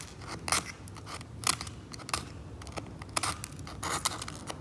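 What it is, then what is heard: Scalpel scraping varnish off an oil painting. A metal scalpel held in the fingertips scrapes the brown varnish layer off the surface of an oil painting, scattering varnish chips across it. The result is a run of short, dry, bright scraping strokes with crisp crackly edges, separated by quiet gaps, with no ringing after each stroke.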